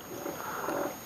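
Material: Nothing is struck.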